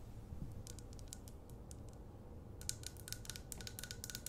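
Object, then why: Glass candle jar with wax fill. Long acrylic nails tap and scratch the glass sides and paper label of a medium glass jar candle with a wax fill, held close. Scattered bright, clicky taps come through from about 0.6 to 1.8 seconds, then a denser, faster run of crisp taps fills the last two seconds over a steady low rumble.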